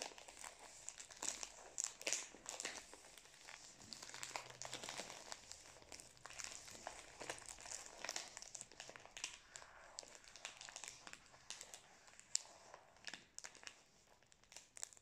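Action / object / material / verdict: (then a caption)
scrape / biscuit roll wrapped in thin plastic film / plastic film / none. A full, roughly 20 cm cylindrical roll of Prince chocolate biscuits wrapped in thin plastic film is held in both hands close to an earphone mic while fingertips squeeze and rub the film. The result is a steady stream of bright, crisp crinkling and crackling with sharp, quick pops scattered throughout and almost no low end.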